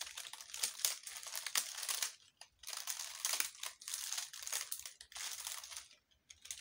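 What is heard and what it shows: Long, light-colored nails and fingertips crinkle and rub a hand-sized bundle of dry, brittle, yellow-brown leaves that look like dried tobacco leaves. The result is a dense, bright, crackly rustle in bursts, broken by brief near-silent pauses.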